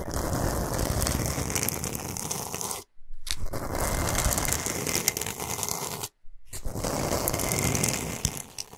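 Long pointed nails scratch fast across a large, flat, solid pink Himalayan salt block, making a dense, gritty, continuous scraping with bright, high crackle over a heavy low rumble. The scratching runs in three long bursts, broken by two brief silent pauses.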